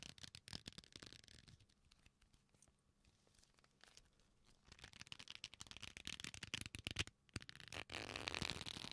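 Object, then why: Coiled leather belt. A black leather belt, a flat solid strap coiled and folded into loops, is squeezed with fingers close to the microphone. Bursts of bright rubbing and creaking start out dense, thin to a quieter stretch in the middle, then return busier and louder toward the end, closing in a steady rustling wash.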